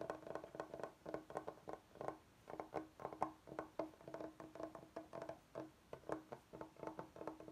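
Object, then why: Bamboo cutting board. Fingertips of both hands tap and scratch the face of a large solid bamboo cutting board. The result is a steady stream of quick, dry, woody clicks with a mid-range tone near 750 Hz and almost no ring, mixed with faint, bright scratching between the taps.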